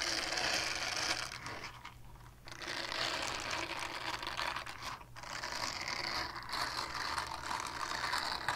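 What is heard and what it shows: Long painted nails rapidly scratch across the textured face of a small, flat, solid purple silicone scrubber pad. The result is a dense, bright, rasping scratch that runs almost continuously, easing off briefly twice before picking back up.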